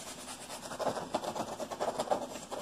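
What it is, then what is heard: Nylon mesh pocket scratched. A neon-yellow nylon mesh pocket on a vest is held up and scratched and rubbed with fingertips and nails. The result is a quick, dry, scratchy rasping in the mid-range, with brighter scraping bursts over a steady rustle.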